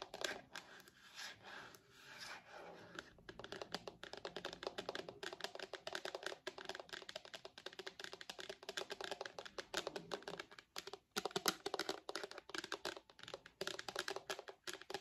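Long nails tap rapidly on a purple hard plastic case shell on the back of an iPad. The clicks are dense, dry and bright, with almost no low end and a very short decay. The first few seconds sound more scratchy before the steady tapping takes over.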